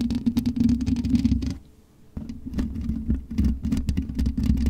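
Long nails scratch the black metal mesh grille of a USB microphone, producing dense, rapid scratchy rasping over a low, boomy rumble and a steady tone around 200 Hz. The scratching drops to near silence for about half a second midway, then resumes with a sharp onset and keeps going in quick, uneven strokes to the end.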